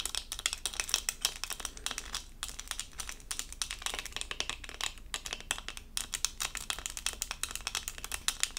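A small, flat, doll-shaped diamond-painting sticker covered in resin rhinestones on a thin, solid plastic backing is held in both hands and scratched with long acrylic nails. The result is a rapid, dense stream of short, bright clicks and crackly scratches with almost no ring, coming in bursts with brief pauses between them.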